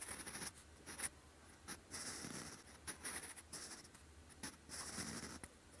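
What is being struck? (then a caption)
Graphite pencil on a paper notebook page. A sharpened wooden pencil writes on a lined grey-beige paper notebook page, its graphite tip scratching across the surface in handwriting strokes. Quiet, bright, dry scratching comes in irregular bursts of strokes separated by brief pauses, with a faint low hum underneath.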